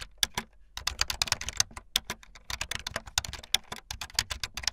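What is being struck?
Plastic computer keyboard.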